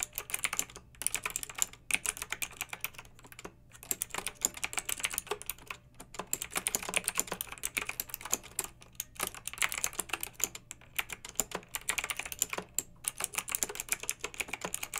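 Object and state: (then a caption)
Plastic mechanical keyboard. Long red-nailed fingertips type steadily on a pink mechanical keyboard with round retro plastic keycaps and blue backlight. The result is a dense stream of bright, crisp plastic clicks and clacks that die away almost instantly, with a few brief pauses between bursts. A faint steady low hum sits underneath.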